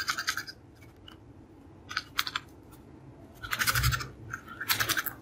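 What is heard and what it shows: Fingernails scratch along the edge of a small, hollow, purple cardboard creme bleach box, making bright, raspy bursts of rapid scraping. Four short clusters of dry, crackly strokes are separated by quiet pauses, with a faint low bump during the third burst.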